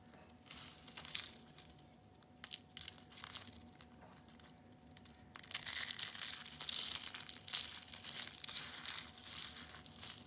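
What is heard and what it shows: Blue and purple dried soap curls are broken and crushed under the palm and fingers. Bright, dry crackling and crunching comes in scattered snaps at first, then turns into denser, louder crushing after about five seconds, with a faint steady tone underneath.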